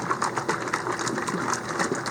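A bottle of thick, settled FloraNova nutrient with a weighted agitator of about half an ounce inside is shaken, producing rapid, steady clinking as the agitator knocks around inside. The agitator's weight lets it hit the bottom of the bottle to stir up and mix the settled nutrient.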